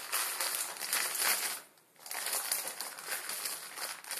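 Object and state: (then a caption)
Plastic ramen packet crinkled. A plastic instant ramen packet with dry noodles inside, lying on a wooden table, is rubbed and crinkled with fingertips and then squeezed. Dense, bright crinkling and crackling fills the clip, broken by a brief quiet gap near the middle before resuming.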